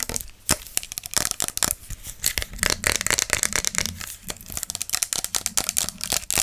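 Long acrylic nails tap fast on a tall, clear plastic body mist spray bottle with a pump cap, hollow and partly full of fragrance liquid, held in one hand. The result is a rapid stream of sharp, bright, clicky taps with a crisp hollow plastic tick and almost no ring or low end.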